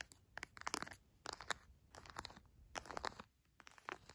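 Fingertips and long nails press, tap and scratch an orange plastic squeeze pouch full of soft raw honey. Bursts of bright, crinkly crackling come in clusters of quick, sharp ticks with short quiet gaps between them.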